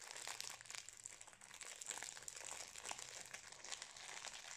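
A wrapped Napolitain cake in a metallised foil-plastic wrapper is squeezed and crinkled by fingertips close up. It makes a continuous, bright, dense crinkling with rapid crackles and sharper crunchy bursts, almost no low end, and each snap dying away almost instantly.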